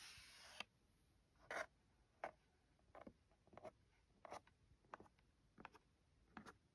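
Long gold-tipped nails scratch and trace the black printed letters on a small, hollow, closed white cardboard phone case box, with some fingertip tapping. After a brief steady hiss at the start, short dry scratchy strokes and soft taps come in separate quick bursts, each fading almost at once, over a quiet background.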